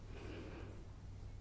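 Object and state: Nothing is struck.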